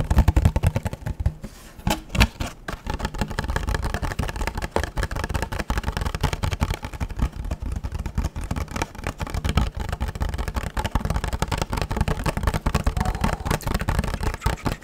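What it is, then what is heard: Hollow empty plastic box. A small, hollow, empty clear rigid plastic box is held in the hands and tapped and scratched with fingernails. The result is a fast, continuous stream of dry, hollow clicks and scratches with a low, thumpy body and almost no ring.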